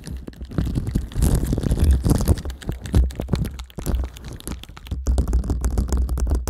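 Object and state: Plastic sticker sheet over a microphone, tapped and scratched.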